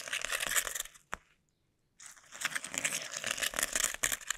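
Fingertips wrapped in sticky tape press, scratch and peel across a flat sheet of clear plastic bubble wrap laid on a table, while long nails brush its surface. Dense, bright, crackly scratching and sticky peeling fill the first second, followed by a sharp click and a brief near-silent pause. The busy crinkling then resumes with crisp snaps.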